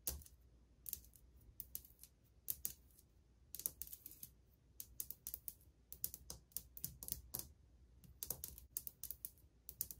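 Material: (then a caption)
Ceramic. Painted fingernails and fingertips of one hand, with a ring on one finger, softly and quickly tap a solid, flat wall of old white glazed ceramic subway tiles. The result is bursts of short, dry, bright clicks with almost no ring, over a faint low rumble.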